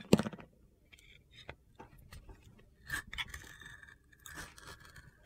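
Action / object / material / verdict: scrape / bar of soap with glitter coating / soap / none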